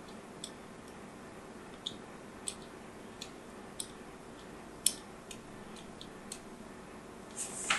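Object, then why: Bar of soap scored with a craft knife tip. A craft knife tip scores and scratches lines into the surface of a solid rectangular purple bar of soap held in the palm of a hand with long grey nails. About ten sharp, bright, scratchy clicks land at irregular intervals over a faint steady hiss. A louder, drawn-out scrape closes the clip.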